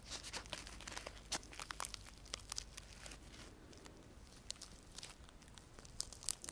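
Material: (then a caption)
Sola wood. A dry sola wood flower with layered petals is held close and scratched and tapped with fingernails. It gives a quiet, dense run of brittle, bright crackles and sharp ticks that stop instantly, over a soft rustling scratch. A few louder snaps stand out near the start and end.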